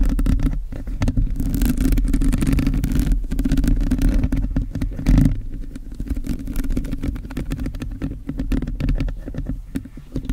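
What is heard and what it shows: Long blue nails scratch and tap quickly across a hollow black metal mesh microphone grille held steady. The result is a dense, muffled scraping rumble concentrated in the low end, with rapid, irregular taps running throughout.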